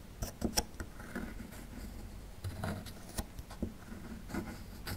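A small metal chisel tool scrapes near the tail of a dinosaur relief on a small, solid plaster fossil excavation block. Quiet, gritty scraping and rasping are broken by several sharp, bright scratches and clicks over a soft, low rumble.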